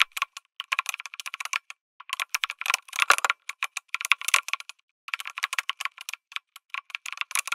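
Fingertips type on a lit mechanical keyboard with an aluminum case and plastic keycaps. Rapid, dry, clicky keystrokes come in bursts with brief pauses, about 37 sharp, bright taps that die away almost instantly, including a short flurry near three seconds.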